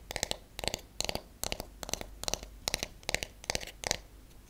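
A wooden paddle hairbrush with wooden bristle pins is turned over and its back and pins are tapped with fingernails. Nine quick bursts of clicky taps follow one another, each burst a short flurry of several hits. The taps sound dry and bright, with almost no ring between them.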